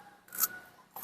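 Raw, crisp, juicy flesh of a Dill's Atlantic giant pumpkin gives bright, rasping crunches as it is cut, scraped or bitten, with a swelling scrape and then a shorter one. The sound is high and dry with almost no low end, confirming the flesh is very crisp.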